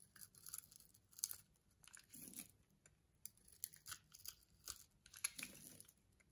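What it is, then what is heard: Soap bar being shaved. A utility knife blade scrapes and shaves thin flakes off the face of a solid yellow soap bar with a textured, pre-scored surface, held in the palm. The result is a run of quiet, bright, crisp scraping and crinkly shaving bursts, dry and short with almost no low end.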